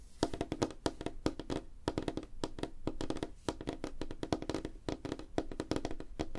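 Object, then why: Light wooden tabletop. Fingertips and nails of both hands tap fast on a flat, solid, light wooden tabletop. A rapid, uneven stream of short, dry, woody knocks is heard, each with a hollow low-mid body around 300 Hz. The knocks die away almost instantly, with no ring.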